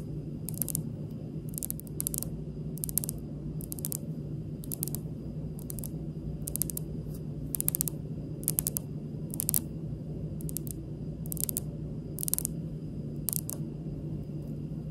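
Long pink nails tap on a large, solid, speckled granite kitchen countertop close up, making light, slowish, bright clicks that die away almost instantly. The taps come in short clusters over a steady low hum.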